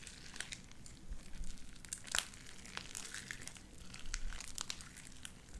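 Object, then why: Sticky slime with small beads. Light-blue sticky slime with white beads is kneaded and squished with the fingers of both hands. It makes a steady stream of sharp, bright crackles and little pops with crinkly texture. They sit over a soft, low rumble and swell and fade as the squeezing continues.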